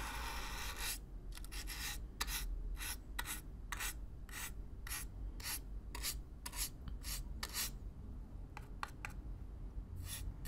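A stiff black-bristle brush is swept across the surface of a hollow brown corrugated cardboard box, close up. Repeated bright, raspy scratching strokes sound one after another over a steady low rumble.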